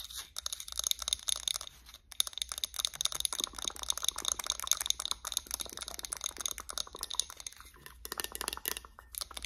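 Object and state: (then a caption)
Glass candle jar. Long acrylic nails tap and scratch the glass sides and metal lid of a White Barn "Champagne Toast" candle in a wax-filled glass jar. Dense, bright clicks and scratchy crackles run almost continuously, with short pauses near 0.3 and 2 seconds. There is very little low end.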